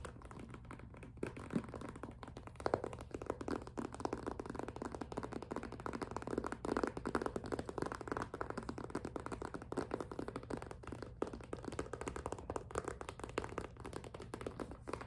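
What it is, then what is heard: Clear vinyl cosmetic pouch, tapped. Long nails grip and tap the top plastic edges of a hollow, clear PVC (vinyl) zippered cosmetic pouch with a pink zipper. The result is a quiet, steady stream of rapid, dry plastic taps and crinkly scratches that die away almost instantly. Most of the sound sits in the low-mid range, with very little high-end brightness.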